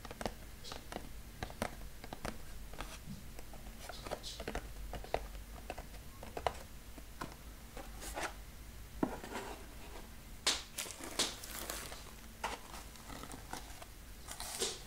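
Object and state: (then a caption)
Small cardboard box. Fingertips tap and scratch the faces of a small, square, brown cardboard box with a label, held in the hand, closed and with contents inside. A steady run of quick, dry taps with short papery scratches comes over a low, constant hum, and each tap dies away almost at once.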